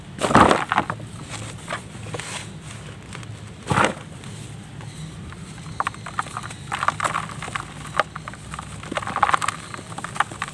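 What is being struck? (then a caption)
Block of red mud. Both hands press a large, solid block of dry red mud resting in a plastic tub of red dust, breaking off chunks and crumbling them between the fingers. Loud, gritty crunches near the start and again around four seconds give way to a run of softer, scattered crackles and ticks over a quiet, low background hum.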